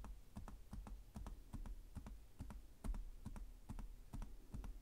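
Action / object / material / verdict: tap / plastic laptop keyboard / plastic / none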